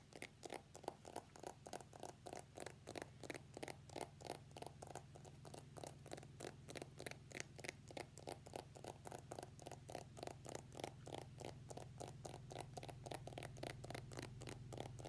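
An iPhone X in a translucent plastic case is held in the hands while fingernails tap and scratch the case. It makes a quiet, rapid, uneven stream of short, clicky taps and scrapes over a steady low hum.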